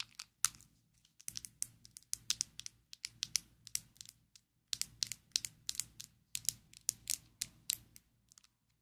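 A small square black plastic Maybelline Fit Me loose powder jar, closed and held in both hands, is tapped with long acrylic nails. Bursts of quick, dry, bright clicks with almost no ring come in clusters separated by short pauses, the sound sitting almost entirely in the high range.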